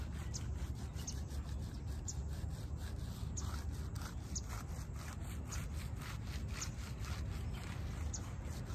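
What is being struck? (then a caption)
Wet shag-pile fabric doormat. Fingers drag and rake through the wet, foamy pile of a small shaggy fabric doormat, leaving streaks in the shag. A steady, low, muffled rubbing runs throughout, broken by repeated brighter scratchy strokes as the fingers pull through the soaked fibers.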